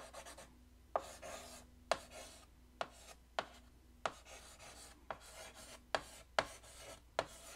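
White chalk held in the fingertips scratches strokes across a large, flat black chalkboard in a wooden frame. Each stroke begins with a sharp tap as the chalk meets the board, followed by a dry, bright scraping rasp. The strokes repeat at uneven intervals with short quiet gaps between them.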